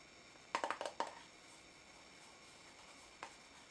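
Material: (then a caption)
Plastic. Fingertips and nails tap and scratch the side and lid of a small pink translucent plastic tub full of pink noise putty, held in the hand. A quick run of five light, hollow plastic clicks centred around 930 Hz, with a bright edge, is followed after a quiet pause by one more tap. Each click dies away almost at once against a low background hiss.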